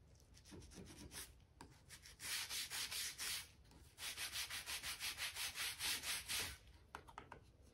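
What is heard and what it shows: A stiff-bristle brush with a blue handle is scrubbed along the gaps between the planks of a solid oak floorboard floor. Two bursts of quick, rhythmic back-and-forth strokes make a bright, hissy scratching, with quieter, lighter brushing at the start and end.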